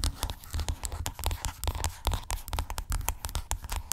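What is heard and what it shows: Long acrylic nails scratch and tap along a hollow white plastic skincare tube lying flat. The result is a steady run of quick, dry clicks and scratchy rasps with bright edges over a low, hollow thump from the tube, each tap dying away almost at once.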